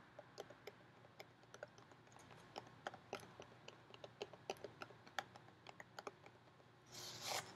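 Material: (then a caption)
Plastic. Long painted fingernails tap a clear plastic clamshell container, about half full of sliced almonds and held in one hand, making about 29 quick, light, dry clicks with a bright plastic tick and almost no ring. The clip ends with a short, louder burst of bright, hissy rustling.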